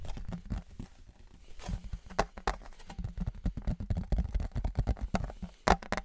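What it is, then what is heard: Metal souvenir license plate. A thin embossed metal souvenir license plate is held in both hands, raised and then lowered in front of the mic while fingertips and nails tap and scratch it. Quick, dull taps with little ring come in irregular bursts over soft scraping, with most of the energy low and an occasional sharper, brighter click.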